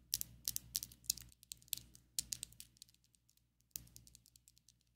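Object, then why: Acrylic fake nails. Long coffin-shaped ombre acrylic fake nails on both hands tap and click their tips together. The result is about fifteen sharp, bright, dry clicks in quick clusters, each stopping almost instantly, over a faint low hum.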